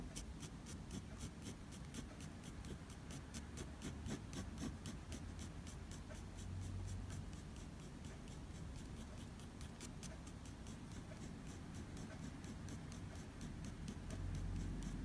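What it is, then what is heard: Pencil hatching on drawing paper. A light-blue mechanical pencil makes fine hatching strokes across a sheet of drawing paper, shading the fur of an ear. Quick, fairly steady scratches of graphite on paper repeat in bright, high ticks over a low, continuous rumble.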